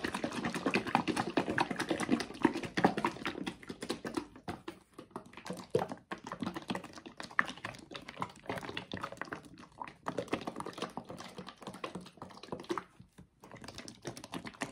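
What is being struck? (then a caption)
Paperboard sauce carton. A red and white paperboard tomato sauce carton with a green cap, filled with liquid, is shaken in the hands. It makes dense, irregular sloshing and soft thuds with a muffled low-mid tone, loudest in the first four seconds. After that it turns quieter and more broken up, with brief pauses.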